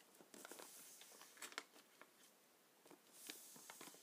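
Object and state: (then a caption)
Plastic bag of paintballs. Fingertips press, rub and scratch the surface of a black plastic bag full of gelatin paintballs lying on a glass table. Quiet, bright crinkling and scratchy rustling are broken by a few sharper crackling taps, with almost no low end.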